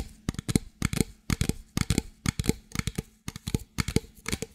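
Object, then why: Plastic drink bottle. A medium clear plastic drink bottle, hollow and apparently empty, is held in both hands and tapped and squeezed with long fingernails. Quick clusters of dry, hollow taps and crinkly plastic clicks come in a steady rhythm of about two bursts per second. Each burst has a low thump under bright clicking and dies away at once with no ring.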